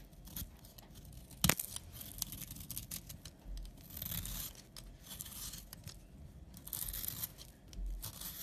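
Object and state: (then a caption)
Bar soap being scraped. A utility knife scrapes fine, powdery shavings from a solid tan bar of soap held in the hand. Soft, dry, crackling rasps with a bright hiss come in uneven strokes, with one sharper, louder scrape early on.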